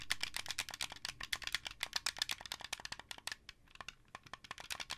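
Fingertips with painted nails rapidly tap and click the white buttons and sticks of a hand-sized, blue translucent plastic, wired Xbox 360-style controller with a hollow shell. Dozens of short, dry, bright clicks sound in quick, uneven succession, each dying away almost at once, with a slight pause partway through before the clicking resumes.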